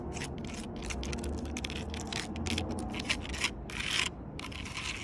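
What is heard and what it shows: Long purple nails scratch and pick at the ridges of rough bark on a large, solid log. The result is a run of quick, dry, bright scratching bursts, a few louder and crisper, over a steady low hum.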